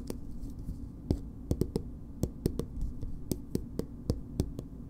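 A green plastic BB cream squeeze tube, held upright, is tapped with long nails in fifteen short, dry clicks spread unevenly across the clip. Each tap sounds sharp and bright at its start, then dies almost instantly over a soft, low background murmur.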